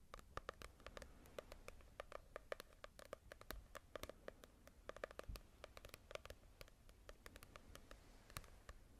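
A small paperback manga volume with a paper cover is held in both hands and tapped and scratched with long nails. Quick, dry, papery clicks and taps come in a rapid, uneven stream over a soft scratching hiss. Each tap is very short with almost no ring, giving a light hollow tone around 560 Hz.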